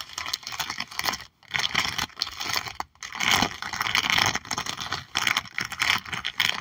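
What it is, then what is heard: Plastic sleeve on a sticker album page. Long nails tap and scratch across a sticker album page of horse stickers held under a clear plastic sleeve. The result is bright, crinkly plastic scratching and rapid tapping in uneven bursts, broken by a few brief pauses.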